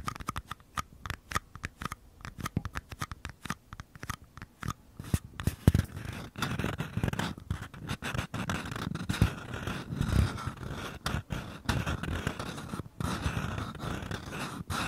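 Fingertips tap and scratch the flat bottoms of two identical small, empty, hollow paper cups held sideways with their bases toward the microphone. Crisp, dull taps come first in quick bursts, then give way to denser, continuous rustling scratches dotted with further taps. The sound is low and hollow, and each tap dies away almost instantly.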